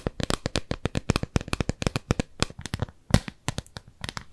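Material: Silicone.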